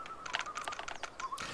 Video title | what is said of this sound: Tikkabilla - Oboes, Jungles and Shakers (2004) | making a tapping noise with its beak